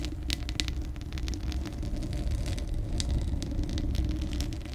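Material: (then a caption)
Steel mesh. Long acrylic nails scratch the bare, hollow steel mesh grille of a large condenser microphone. A deep, steady rumble around 62 Hz dominates, with quick bright scratchy bursts scattered over it. The hand partly covers the grille as the scratching goes on.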